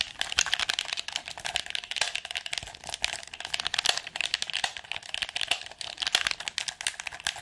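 A red PS4 controller of hollow hard plastic is rapidly clicked on its buttons and tapped on its casing with long nails. The result is a fast, dense run of sharp, bright clicks and taps, with little low end.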